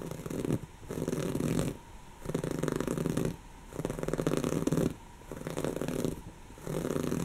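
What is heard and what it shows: A soft, stuffed brown cushion of textured woven fabric is scratched with long natural fingernails of both hands. Six bursts of dense, raspy scratching are heard, separated by brief pauses. The rasp is fuzzy and mostly low-to-mid, with a faint buzzy hum in each burst.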